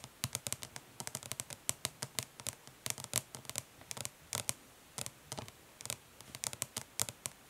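Long nails tap quickly and lightly scratch the lettering on the lid of a flat, hollow plastic eyeshadow palette resting on cloth. Around 38 short, dry, bright clicks and scratches come in quick irregular bursts, each dying away almost at once over a quiet background.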